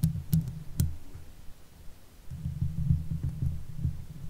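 Long nail tips scratch the hollow steel mesh grille of a silver Blue Yeti microphone, giving low, muffled scratching and soft thumps concentrated below 200 Hz. A few sharp, brief clicks stand out early, followed by a quieter stretch and then a busier burst of rubbing strokes.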